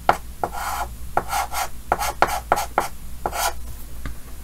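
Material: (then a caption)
Chalk. Yellow chalk held in the fingers scratches short strokes across a large, solid, flat painted chalkboard with a green frame. Nine separate taps and scrapes are heard, each a short, dry, gritty stroke with a bright hiss and a tone near 820 Hz, stopping almost at once with no ring.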